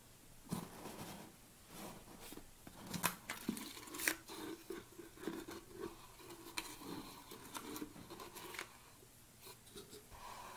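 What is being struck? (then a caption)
Plastic supplement tub. Fingernails scratch and tap across the lid and sides of a large black plastic protein tub. The result is a quiet, close run of dry, hollow plastic taps and scraping with short crunchy, crinkly textures, each tap stopping almost at once, with a few sharper clicks standing out.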